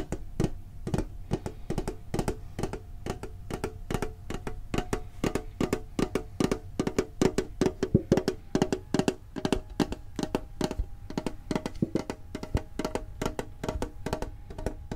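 A green printed hollow metal Pokemon card tin is held and tapped on its lid with the fingertips and short nails. The result is a fast, steady stream of short, dry, hollow taps with a faint tinny ring and a soft low body, each tap dying away almost at once.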